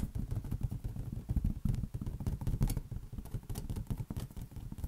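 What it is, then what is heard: Inflated latex balloon. A large, hollow, air-filled green latex balloon is tapped rapidly with the fingertips of both hands. The result is a dense, steady stream of soft, dull low thumps centered around 117 Hz, with almost no high-end content, each tap fading almost instantly.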